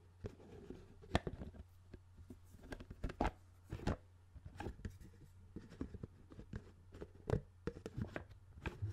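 A hand-sized, hollow CD spindle case with discs inside, a clear plastic dome lid on a black plastic base, is held close to the microphone while fingertips tap and scratch the lid. Quiet, dry, short taps and soft scratchy rustles come in irregular bursts over a steady low hum.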